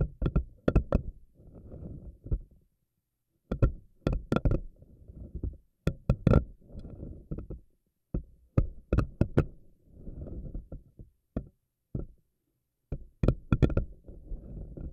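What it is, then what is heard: Silicone anemone ball. A pink silicone spiky anemone ball has several of its tentacles pulled out long by fingernails and released to snap back. Bursts of sharp, bright snapping clicks alternate with low, soft rubbery stretching sounds, and each snap dies away almost instantly.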